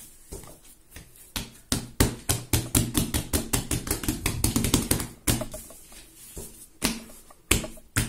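Bare fingertips and palms press and pat a large, soft, solid yellow ball of raisin bread dough on a marble-pattern counter. A quick, irregular run of soft, dull pats and squishy slaps has low thuds and bright smacky edges. The pats cluster densely in the middle before slowing to a few sharper slaps with quiet gaps.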